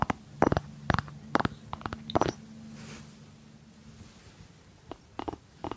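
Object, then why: Small ceramic jar with cork lid. Fingertips and nails tap and scratch the cork lid of a small hollow white ceramic jar with a blue rim. Clusters of short, dry taps and scratchy strokes come in uneven bursts over a low hollow hum. The taps die away almost instantly, with a quieter stretch in the middle.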